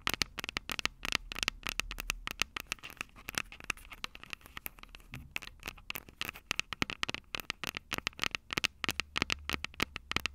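Long purple nails rapidly tap and scratch the two silver metal mic capsules on the plastic body of a Tascam DR-05 handheld recorder. The result is a dense stream of sharp, bright, close-up clicks and scratchy crackles with no ring. A faint low hum runs steadily underneath.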